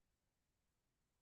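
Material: Nothing is struck.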